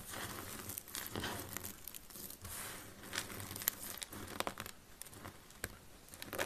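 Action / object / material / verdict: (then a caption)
scrape / soap flakes / soap / none. Fingertips with purple nails press, crush and rub a pile of solid, brittle yellow dry soap shavings on a grey wooden surface. Dense, dry crunching and crinkling fills the clip, with sharp bright crackles standing out over the steady texture.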